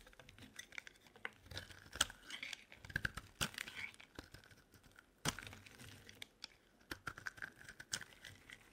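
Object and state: Dry bar soap being carved.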